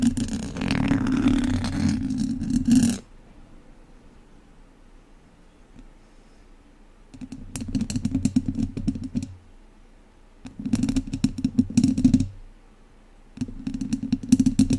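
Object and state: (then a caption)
Metal mesh microphone grille scratched with chopsticks. Wooden chopsticks scratch the top and sides of a hollow metal mesh microphone grille in four bursts, with quiet pauses in between. Each burst is a dense, rasping scrape with a booming low rumble underneath and bright, crackly edges.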